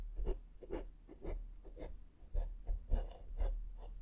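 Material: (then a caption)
Foam. A small flat makeup brush sweeps across the top and side of a black foam microphone windscreen. Repeated, unevenly paced soft scratchy swishes each carry a brief bright hiss over a dull low thump, separated by quiet gaps.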